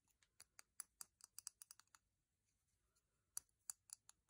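A metal box is tapped and clicked on in a quiet, close setting. About fifteen short, dry, bright clicks come in a quick uneven run for the first two seconds, then a pause and a few more taps near the end. Each click stops at once with no ringing.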